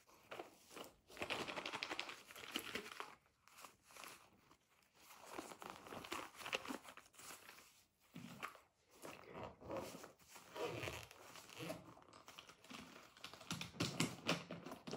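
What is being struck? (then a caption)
Plastic-covered zippered pencil case. Fingers and nails scratch, rub and crinkle the shiny surface of a Spider-Man printed, glossy PVC/plastic-covered zippered pencil case, first held up and then resting on a table. The result is dense, dry crinkling and scratchy rustling in uneven bursts with brief quiet gaps, bright in tone with little low end and no ring.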